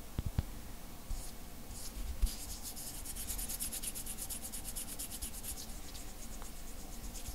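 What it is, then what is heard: Glass bottle with glass stopper, scratched by fingertips. Fingertips rub and scratch the surface and neck of a hollow, apparently empty clear glass bottle with a heart-shaped glass stopper, held in both hands. A few soft low knocks come early, then bright, rapid scratching strokes build into a steady, quick rhythm that carries through the rest of the clip over a low background hum.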